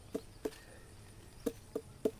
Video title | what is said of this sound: 西瓜 甜瓜 番茄 黑莓 水蜜桃后续追踪，是不是所有母亲都是这样，为了孩子，明知不可为而为之 | 稍微拍一拍 感覺還是差點事兒再養養